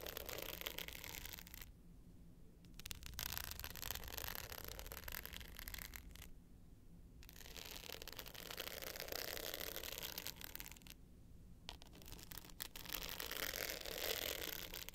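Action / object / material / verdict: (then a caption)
scrape / hard-case clutch with glitter face and metal frame / glitter / none. Long pointed nails scratch the dark blue glitter face of a small, rectangular, hollow hard-case clutch with a gold metal frame, held tilted up in one hand. It makes a dense, bright, gritty scratching that runs in bursts, broken by three short pauses, with a low steady hum beneath.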